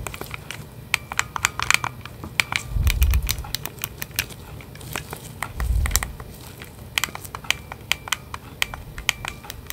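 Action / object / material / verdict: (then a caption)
tap / plastic game controller in a grip / plastic / none. Red and blue plastic Nintendo Switch Joy-Con controllers attached to a black grip, hand-sized and hollow, are held close while nitrile-gloved fingertips press and click the buttons and tap the shell. Rapid, irregular sharp clicks and light taps ring out over a soft rustle, with two deeper muffled thumps near three and six seconds. The result is a dense, crisp stream of plastic clicking with a bright edge.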